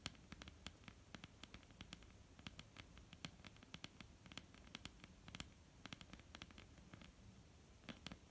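Long almond-shaped painted nails of both hands tap a flat, solid wooden tabletop. The result is a quiet, irregular patter of short, dry clicks that fade almost instantly, each with a bright, crisp edge over a faint low hum.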